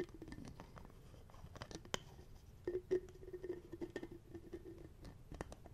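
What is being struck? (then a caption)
Small plastic bottle with screw cap. Fingertips tap and handle the cap and lid of a small, clear plastic bottle with a black cap, hollow and apparently empty, held close to the mic. A quiet run of light, quick taps and soft scratchy handling carries a low, hollow resonant tone, with a few sharper clicks in between.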